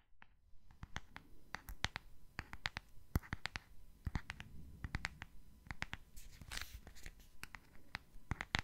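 A small, hollow purple printed gift box with hearts and a Tweety picture, likely rigid cardboard, is held in the hands and tapped and scratched with long fingernails. About thirty quick, dry, clicky taps land in irregular bursts, each with a soft hollow low thump beneath it. A brief brighter scratching rasp appears near the middle of the clip.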